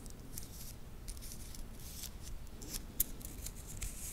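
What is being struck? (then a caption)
Titanium link watch bracelet. A small solid titanium watch bracelet is held in both hands close to the microphone while the fingers flex it, clicking the metal links against each other. Quick, bright metallic ticks come in uneven bursts over a low rumbling background, with one sharper click standing out near the end.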